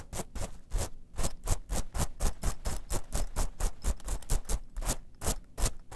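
A small gold, silver and black metal mesh clutch pouch lies flat while long nails scratch and rub across it fast. Rapid, uneven strokes make bursts of bright, gritty rasping over a soft low rumble, with each stroke dying away almost at once.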